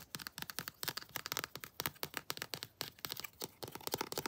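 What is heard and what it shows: Long blue acrylic nails tap and scratch the arms and armor of a hand-sized, detailed molded plastic/vinyl Predator action figure held in hand. A quick, uneven run of short, dry, bright clicks and scratchy scrapes, with almost no low end, each stopping almost instantly.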